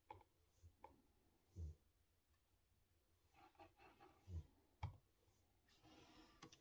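Fingertips type slowly on a typewriter-style mechanical keyboard with chrome-rimmed round keycaps on exposed blue switches. About seven quiet, irregular keystrokes land as short clicks, each with a dull low thump that dies away almost at once.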